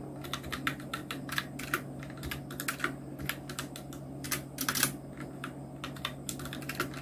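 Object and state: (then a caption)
Plastic mechanical keyboard. Fingertips of both hands type steadily on a full-size black Nubwo Illution NK-70 plastic mechanical keyboard with Outemu red switches, round plastic typewriter-style keycaps and blue backlight, resting on a white desk. The result is a dense stream of short, bright clacks with very brief decay over a faint steady low hum.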